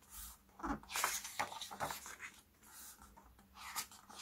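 Fingertips with short nails turn and flip the glossy and matte paper pages of a hardcover CD album photobook lying open on a black cloth. Soft, bright rustles and quick flicks come in uneven bursts as each page turns over, with quiet pauses between them.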